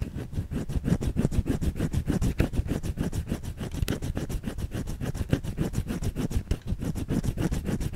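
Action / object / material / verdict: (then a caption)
scrape / solid bar of soap / soap / none. Long fingernails scratch rapidly across a white solid bar of soap held in the hand. The result is a steady stream of dense, dull scraping strokes, heavy in low tones with little high-end brightness, running continuously for the whole clip.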